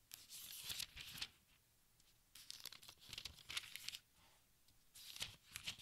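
Fingertips with dark nails turn and smooth the thin paper pages of a large open textbook, producing bright, crisp crinkling and rustling. Three bursts of papery crackle come in roughly the first 1.3 s, from about 2.4 to 4 s, and from about 5 to 5.9 s, separated by quiet pauses.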